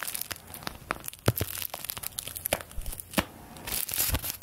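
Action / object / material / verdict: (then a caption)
scrape / thin paper bills / paper / none. Thin paper play-money bills are fanned and crinkled between the fingers of both hands with long painted nails. Dense, bright crackling and rustling comes in quick, sharp bursts over a soft, steady low hum, with a few louder snaps standing out.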